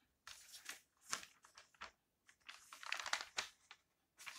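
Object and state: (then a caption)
Glossy paper magazine pages turned. An open history magazine with glossy paper pages is held in both hands while fingers flip and rustle the pages. The result is a quiet string of bright, crisp crinkling and papery swishes in short, irregular bursts, with brief silent gaps between them.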